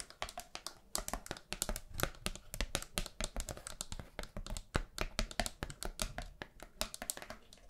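Long nails tap fast on a thin, flat, round pastel paper hand fan with bamboo ribs. Dozens of quick, dry clicks land one after another, each a short bright snap with a low papery thump and almost no ring.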